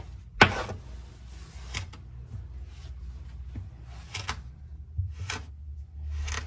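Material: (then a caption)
Sand. A hand-held metal kitchen knife blade cuts and scrapes through several flat, coiled rounds of solid, soft orange kinetic sand on a white table, slicing, dragging and pulling the sand apart. A sharp, bright crunch at the start gives way to a series of soft, gritty, hissing scrapes over a low, muffled background.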